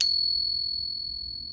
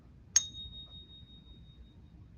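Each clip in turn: First: genuine 90% silver coin. Second: genuine .999 pure silver coin.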